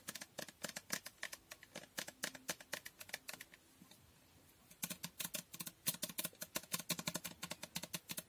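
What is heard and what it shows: Long painted nails rapidly tap and scratch a medium glass Toko Aroma bottle with a pink printed label and a dark cap. The result is a steady run of sharp, bright clicks with almost no ring, broken by a brief quiet pause near the middle before the tapping picks up again.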